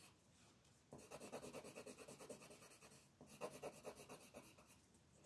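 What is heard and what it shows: A colored pencil, held close to its tip, makes quick scribbling strokes to shade a thin paper coloring book page lying flat on a wooden table. The pencil scratches across the paper in two bursts of rapid, bright, rasping strokes, separated by a brief pause. The quiet background hiss continues between and after the strokes.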